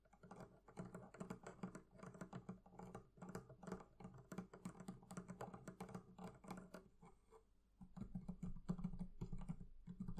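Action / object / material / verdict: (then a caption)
tap / leather covering of a wooden barrel chest / leather / none. Fingers tap rapidly and unevenly on the leather covering of a barrel chest, producing a dense stream of soft, dull, low-pitched knocks with almost no ring. The tapping briefly thins out around 7.5 seconds, then returns louder and heavier for the rest of the clip.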